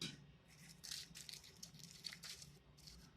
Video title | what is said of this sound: Chips de kale (non édité) | quand je les touche, ça sonne sec. Donc, quand ça crunch comme ça, c'est le moment que vous savez qu'ils sont prêtes.